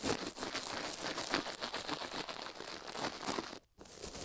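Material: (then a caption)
Silicone. A plastic toothbrush is brushed fast over a silicone ear microphone at close range. It makes a dense, bright, scratchy crinkling with rapid strokes blurring into near-continuous texture. The brushing drops out briefly near 3.7 seconds before picking up again.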